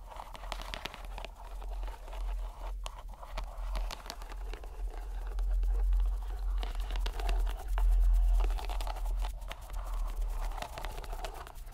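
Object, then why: Soft rubber stress ball in a string net. A fist-sized soft purple rubber stress ball in a white string net is squeezed and rubbed by fingers and thumb, pushing the bubbles out through the net. The result is a steady run of soft crinkling, crunching squeaks and rubbing over a low hum, which gets louder toward the middle of the clip.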